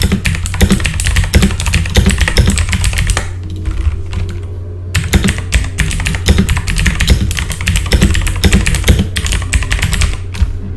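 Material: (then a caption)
Plastic. Both hands type fast with their fingertips on a full-size backlit mechanical computer keyboard with plastic keycaps, producing a dense stream of sharp, bright clicks. The typing pauses briefly a little past the three-second mark, then resumes just as quickly. A steady low hum runs underneath throughout.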